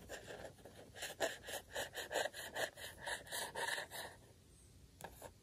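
A fingertip rubs and taps across a flat, thin printed paper circle, a Camp Tingle badge, lying on a sheet of white paper on a table. It makes a steady run of soft, dry, scratchy strokes with a bright papery hiss. The strokes stop for about a second, then a few light strokes follow.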